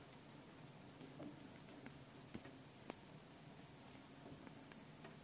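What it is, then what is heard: Metal mesh microphone capsules tapped and scratched. Long painted nails tap and scratch both metal mesh microphone capsules on top of a small handheld Tascam recorder. A quiet, steady crackly patter, much like light rain, runs throughout, broken by two sharper, brighter taps near the middle.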